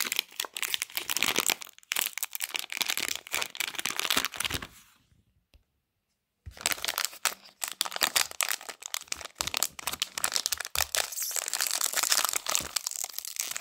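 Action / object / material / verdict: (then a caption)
scrape / plastic foil snack wrapper / plastic foil / none. A small sealed pink plastic and foil wrapper holding one chocolate pie is squeezed by fingertips. It gives dense, bright crinkling and crackling across about four and a half seconds. After a brief silence, the crinkling resumes for the rest of the clip.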